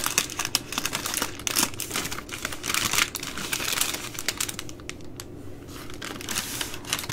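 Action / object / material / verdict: scrape / soft plastic-wrapped baby wipe packs / soft plastic / none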